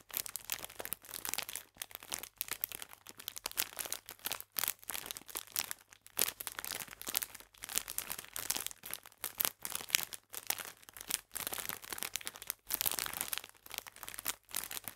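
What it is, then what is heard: Crinkling plastic bag of biscuits. A clear plastic bag full of biscuits, held in both hands, is squeezed with the fingertips, producing dense, bright crinkling and crackling in bursts separated by brief pauses. The sound is sharp and dry, with almost no low end and no lingering ring.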